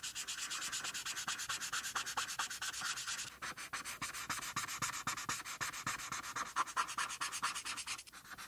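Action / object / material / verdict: scrape / felt-tip marker on a paper sheet / paper / none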